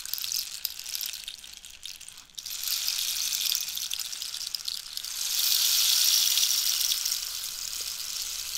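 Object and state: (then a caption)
Cactus wood rainstick. A hollow cactus wood rainstick is held upright while long nails scratch and tap across its holed surface. The result is a bright, hissing, rain-like patter of fast, crackly taps and scrapes with almost no low end. It swells loudest in the second half and then eases off.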